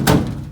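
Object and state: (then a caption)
Sheet metal panel clear of roll cage, no rattle. A sheet metal interior panel bolted into a car with rivnuts is banged once by hand, giving a single low, dull thunk that fades quickly with no rattle. After being ground back for clearance, the panel no longer touches the roll cage it had been rubbing on.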